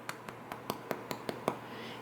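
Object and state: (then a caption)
Baked-through bread loaf, hollow. Eight taps on the bottom of a freshly baked kalamata olive loaf give short, dry, hollow knocks that die away almost instantly. The hollow sound shows the bread is baked through and done.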